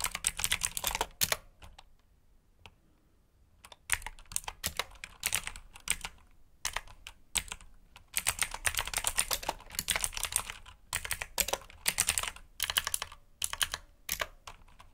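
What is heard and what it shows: Fingertips type on a black backlit mechanical keyboard with plastic keycaps, producing rapid bursts of sharp, bright clicking keystrokes. A quiet pause of about two seconds comes early, then steady typing resumes in quick runs until the end.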